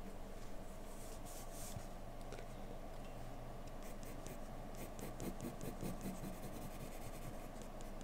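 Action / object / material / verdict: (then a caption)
scrape / graphite pencil on a paper drawing sheet / paper / none. A graphite pencil held in the fingertips strokes and scratches continuously across a flat white sheet of drawing paper lying on a dark desk while a portrait is sketched. Soft, quiet scratchy strokes with brief bright rasps ride over a steady low hum at an even level throughout.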